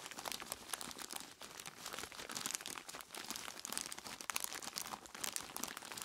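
Dark-gloved hands squeeze and crinkle a large clear plastic bag full of ice cubes. The result is a steady, bright stream of dense crinkling and crunching, with quick overlapping bursts and almost no low end.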